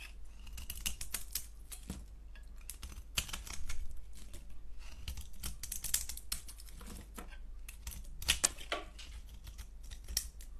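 A solid, translucent orange-striped DURU soap bar held in the hand is scraped with a box-cutter blade. Crisp, bright scraping strokes and sharp clicks come in irregular bursts over a steady low hum.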